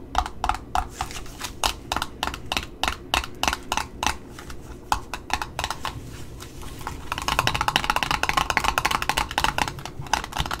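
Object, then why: Satin ribbon roll on a cardboard spool. Long nails tap the top disc and the ribbon side of a red satin ribbon roll on a cardboard spool, making short, dry, woody clicks in an uneven rhythm over a faint low background hum. After about seven seconds the tapping turns faster and denser, with a brighter, more rattling texture.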